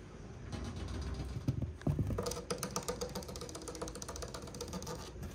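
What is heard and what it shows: Fingernails scratch up and down the edge of a solid, dark brown wood-grain laminate divider on a cube storage shelf. The result is a dense run of quick, uneven scratches with a low, woody body and a few bright ticks. A couple of heavier thumps land near the two-second mark.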